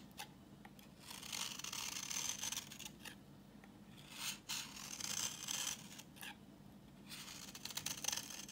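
A utility knife blade scrapes a solid, translucent, reddish-brown bar of dry vintage soap held in the hand, peeling off orange shavings. Bright, crisp scraping comes in several sustained passes separated by quieter pauses with short ticks, over a faint low hum.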